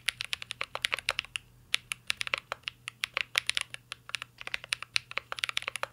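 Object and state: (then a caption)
Mechanical keyboard with plastic keycaps. A mint-green Cyberboard R3 mechanical keyboard with plastic keycaps and a metal case is typed on continuously with the fingertips. About 42 short, sharp, bright key clacks are heard in quick, uneven succession, each dying away almost instantly, with a brief pause near the middle.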